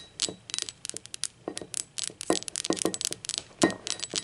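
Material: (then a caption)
Ceramic. Long acrylic nails rapidly tap the base and body of a hollow, speckled teal ceramic mug lying on its side with its base facing out. The result is a quick, irregular run of bright, clicky taps, some with a short hollow ring around 320 Hz that dies away almost at once.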